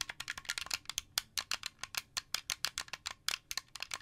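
Fingertips and nails tap and click the white buttons and thumbsticks of a translucent blue, hollow plastic Xbox 360 controller. About 25 quick, bright, dry clicks sound in an uneven rhythm, each dying out almost instantly, with almost no low end.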